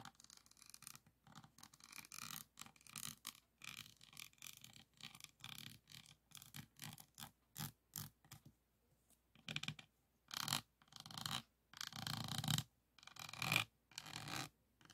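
A pink plastic pen tool is scratched across the bead rows of a flat resin-bead diamond painting board resting on a table. Short, bright, dry scratching strokes repeat in quick bursts with brief pauses, growing louder and longer toward the end.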